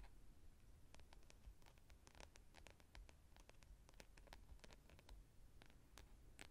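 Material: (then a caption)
Plastic. Long painted nails scratch and run along the spine and teeth of a hand-sized solid orange plastic wide-tooth comb held in front of a furry windscreen microphone. Quick, dry clicks and scrapes come in an irregular stream with bright, sharp edges. A steady low rumble sits beneath them throughout.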